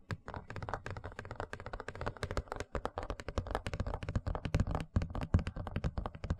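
Fingertips and nails tap and scratch across the surface and rim of a large, thin, empty white plastic tray held in front of the microphone. The result is a rapid, irregular patter of dull, hollow low thuds mixed with brief bright clicks and scratchy scrapes, each one dying away almost instantly.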